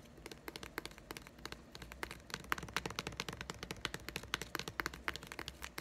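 A small, closed, green plastic egg-shaped putty container is held in one hand and tapped rapidly with the fingertips and nails of the other. The result is a fast, uneven stream of short, dry, bright clicks that die away almost instantly, over a faint low steady hum.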